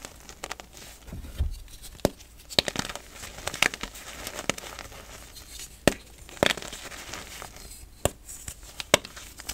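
A small solid pink-and-white pressed gym chalk bubble chunk is held over a pile of loose chalk powder and squeezed with the fingertips of both hands until it crumbles. The sound is dry, sharp crackling and crunching, with many quick snaps over a soft gritty rustle and a brief low thump near the start.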